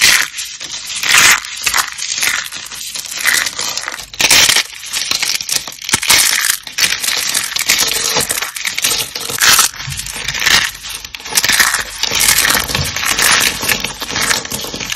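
A pile of dark green, dry starch soap chips, solid and brittle, is scooped up and crushed in fists. The result is dense, bright crunching and crackling that comes in repeated surges, with almost no low end.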